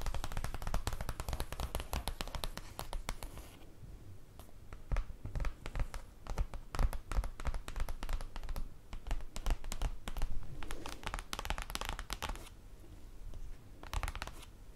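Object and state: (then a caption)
Cardboard folder tapped and scratched. Long acrylic nails tap and scratch the surface of a large, flat black printed paper or cardboard folder with star and mesh-circle prints, lying on a table. Rapid, dense taps give dull, low thuds with short, crisp clicks that die away almost at once. Softer scratching passages come between the bursts of tapping.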